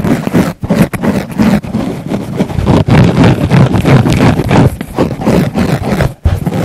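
Fingertips and nails poke and press into a thick, round pink foam sponge near a small black mic embedded in it. The result is a dense run of muffled, low, boomy thumps mixed with soft scratchy rustling. The pokes come quickly and unevenly, with a few brief pauses.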